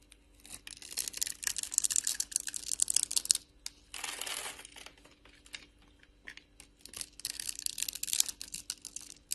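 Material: Soap.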